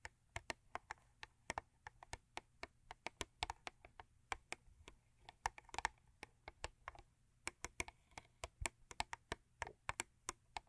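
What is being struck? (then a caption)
Thin cardboard box tapped with fingernails. Long acrylic nails tap fast on a thin cardboard Crest toothpaste box lying flat. About 48 short, dry, bright clicks come in an uneven typing-like rhythm, each dying out at once over a faint low hum.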